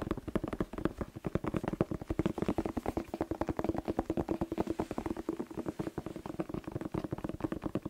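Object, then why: Bell pepper. A whole, hollow red bell pepper with a green stem is held in both hands and tapped rapidly with fingertips and short nails. About 57 quick, dry taps follow in a steady stream, each a short hollow knock centered near 344 Hz that dies away almost at once.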